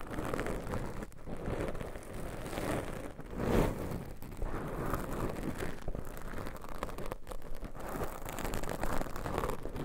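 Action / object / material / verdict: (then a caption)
scrape / foam microphone windscreen / foam / none. Very long pointed nails on both hands scratch and rub two small, soft, porous black foam covers on pencil microphones, making a continuous rough, crackling scrape. The sound is mostly low and muffled, with a brief louder swell near the middle.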